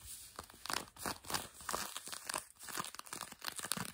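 A hand with long nails scratches the fabric of blue denim jeans worn on a leg. Rapid, dry, bright scratching and rasping strokes repeat in close succession with almost no low end, rising and falling in quick bursts.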